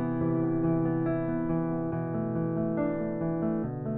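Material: Nothing is struck.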